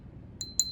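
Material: Base metal.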